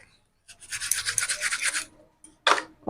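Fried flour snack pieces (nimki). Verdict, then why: Crispy. Freshly fried nimki, a flaky fried flour snack, is handled or broken, giving about a second and a half of dense, bright crackling and rustling crunches. A short pause follows before one more sharp, loud crunch. The sound shows the nimki has turned out crispy.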